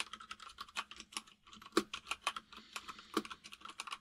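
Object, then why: Plastic mechanical keyboard. Fast typing by both hands with fingertips on a compact plastic mechanical keyboard with white and grey plastic keycaps. A rapid stream of short, sharp key taps clatters with bright clicks, a few landing louder than the rest, and each tap dies away almost instantly.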